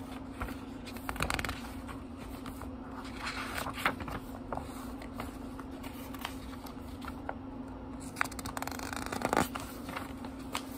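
Fingertips turn the thin paper pages of a small, thick book, producing soft papery rustles and occasional crisp flicks and snaps. A steady low hum sits underneath throughout.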